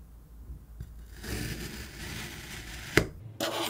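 A steel kitchen knife presses down through a solid, palm-sized block of yellow-green kinetic sand, cutting it into slices. A soft, grainy scraping crunch builds after a quiet start, then a sharp click marks one cut and a second bright, gritty burst follows just after.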